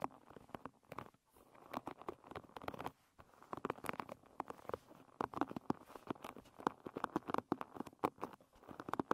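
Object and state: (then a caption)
Wooden pin hairbrush. Long red nails scratch across the wooden pins of a wooden paddle hairbrush lying bristles up. The result is a quiet, dense patter of quick dry clicks and scratches, mostly in the mids, with brief pauses near the start and around the three-second mark.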